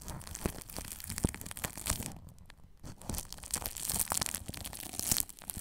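A paintbrush brushes over plastic cling film wrapped around a ball microphone's grille, producing close crinkly, crackling rustles with sharp pops and bright hiss. The strokes run steadily, drop to a near-silent pause just after two seconds, then resume with louder, denser brushing.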